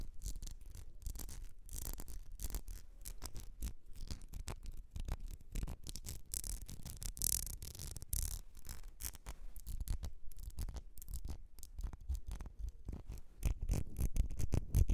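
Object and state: Ribbed glass perfume bottle.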